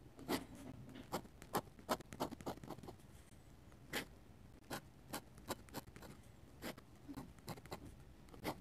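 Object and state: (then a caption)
Paper sketchbook page under a dip pen. A metal-nib dip pen draws fast, scratchy hatching strokes and taps on a paper sketchbook page. Short, bright, broadband scratches come in irregular bursts over a soft, quiet background, each one stopping almost instantly.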